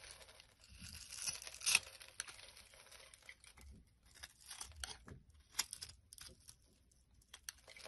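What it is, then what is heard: Dry, crumbly bar soap. A blade scrapes a dry, crumbly solid blue bar of soap held in the hand, and crisp blue crumbles fall off. The sound is a quiet, bright, crackling scrape of short tearing and crunching bursts, with a louder crunch near the two-second mark and almost no low end.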